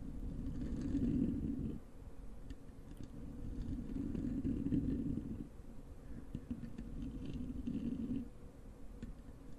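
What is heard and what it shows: Long acrylic nails of both hands scratch the soft, porous black foam windscreen over a large desktop microphone. The result is a dense, muffled, rumbling scratch centered low, swelling louder in three broad waves with quieter rustling and faint light clicks between them.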